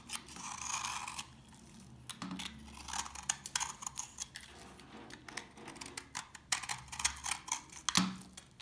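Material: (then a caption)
Soap. An old, dry, solid orange soap bar held in the hand has its surface picked and scraped with fingernails and a knife. Many short, bright, crisp crunches and scratches sound as flakes break off, with a soft, hissy scrape near the start.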